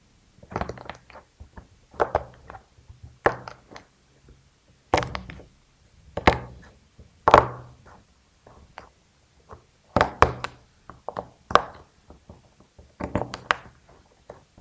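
A fingertip presses and pokes dry, cracked white alabaster (gypsum plaster) set in a small square rainbow silicone pop it tray, crumbling and cracking the surface. Clusters of short, dry cracks and crunchy thunks come in bursts, with quiet pauses between them and very little ring.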